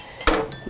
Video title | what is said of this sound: Empresa de Toda la Vida | La pieza que suena como una campana, esta última es una pieza que tiene eh todas las condiciones para poder seguir adelante en el proceso.